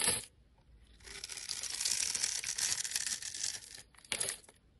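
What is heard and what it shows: A utility knife blade cuts small cubes from the surface of a solid, rectangular, orange-pink soap bar held in the hand. A short, bright scrape is followed by a quiet pause, then a long, crisp, hissing scrape of the blade through the soap, and finally one more short scrape. The sound is almost entirely high and airy, with hardly any low end.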